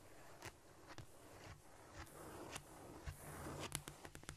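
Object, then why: Cork floor surface. Long nails from both hands tap and scratch across a flat, solid cork floor. Soft, dull taps land at an uneven pace over a steady, quiet scratchy hiss, then bunch into a quicker flurry of brighter clicks near the end.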